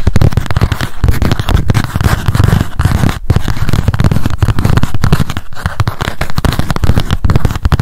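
A small pink m.memo spiral notebook with a cardboard cover, its solid paper stack held in the hands, is tapped quickly with long acrylic nails. The result is a dense, continuous flurry of dull, crackly taps with a heavy low-end thud and little high brightness, running steadily throughout.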